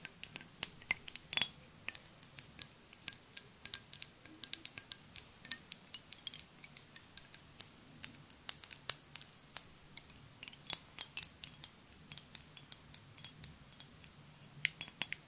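Long nails tap a flat rectangular green glass perfume bottle with liquid inside, close to the microphone. The clip is full of quick, bright, high-pitched clicks and ticks that die away almost instantly, scattered irregularly throughout.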